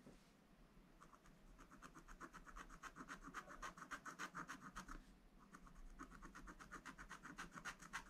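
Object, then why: Coated scratch-art paper and wooden stylus. A wooden stylus scratches small areas near the top edge of a black-coated scratch-art page in a spiral-bound book, with a hand holding the book. Quick back-and-forth strokes make a dry, bright rasp centered around 1.6 kHz, repeating about four times per second. The scratching briefly pauses near the start and again around the middle.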